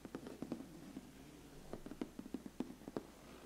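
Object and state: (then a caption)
Cardboard gift box. Fingertips and nails tap and scratch the lid of a large, flat, closed black glossy cardboard biscuit gift box. A quiet series of short, dull taps sits low in pitch around 250 Hz, mixed with faint scratching. Each tap dies away almost instantly, with no ringing.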